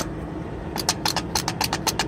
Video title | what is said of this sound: February 24, 2018 | when you shake it, yes, that is the starter. That means it's pretty loose